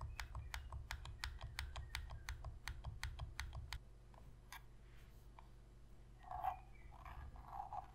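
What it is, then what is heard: Plastic game controller buttons tapped with fingernails. Long pink fingernails rapidly tap and click the shoulder buttons of a black, hollow plastic Sony PS3 controller held on its edge, making a quick run of sharp, bright clicks over a low hum. After about four seconds the clicking thins to a few scattered taps, followed by soft, muffled rubbing sounds.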